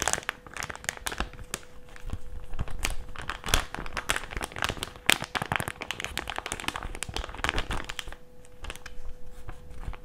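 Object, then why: Plastic mask pouch. A white plastic mask pouch is bent, folded and crinkled with the fingers of both hands, making a dense run of sharp, bright crackles and crinkles over a faint steady low hum. The crinkling comes in quick, closely packed bursts that swell and fade throughout the clip.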